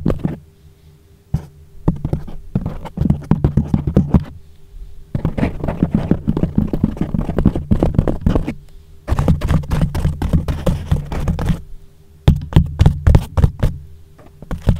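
Bare fingertips knock, tap and scratch on a soft, porous yellow foam windscreen wrapped over a microphone. The result is rapid, irregular bursts of deep, muffled thumps with a short, dry decay and a little scratchy rustle. The bursts are separated by brief quiet pauses.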